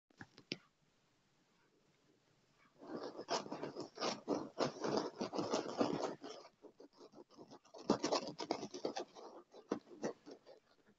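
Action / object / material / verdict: scrape / padded leather chair armrest / leather / none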